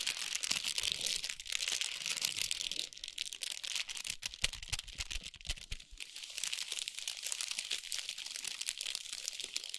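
Long nails tap and scratch a large foil-wrapped chocolate bar with a paper sleeve resting on a towel. The result is a dense, continuous run of bright, crinkly scratching and quick taps, with some soft low thumps in the first six seconds.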